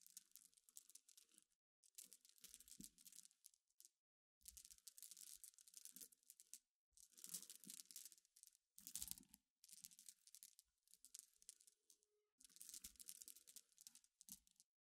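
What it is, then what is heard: Glass pebbles raked by fingernails. Long dark nails scratch and rake through a pile of small, clear, solid glass pebbles resting on black cloth. The result is repeated bursts of dense, bright clicking and rattling, separated by brief silent pauses, with almost no low end.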